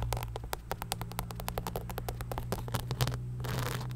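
Long nails scratch and click across the crystal-covered upper and the sole of an empty beige rhinestone-covered knit sneaker held close to the mic. Quick, crisp ticks come in a dense, uneven run, ending in a brief rough scraping wash, all over a steady low hum.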